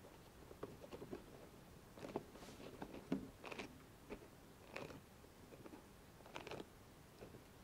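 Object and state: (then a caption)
Rubber spiky sensory ball. A hollow, soft rubber spiky massage ball, about hand-sized and held between two hands, is scratched and rubbed across its spikes by long nails and fingertips. Quiet, dry scratches and soft ticking taps come in irregular bursts, some with bright, crisp edges, over a low background hiss.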